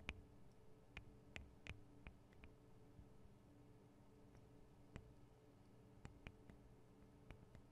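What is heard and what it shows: Long acrylic nail tips tap the small hollow metal and plastic microphone capsules of a Tascam DR-40 recorder. Eleven short, bright, dry clicks are scattered irregularly over a quiet, steady low hum.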